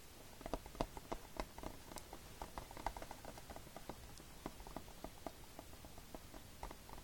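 Fingertips tap and scratch the printed cover insert of a hollow, dark-rimmed plastic Fullmetal Alchemist DVD case lying flat on a striped blanket. Quick, irregular taps land in uneven clusters as soft, dry clicks with a hollow plastic knock, fading almost instantly between light scratching sounds. The result is a quiet, steady patter with no ringing.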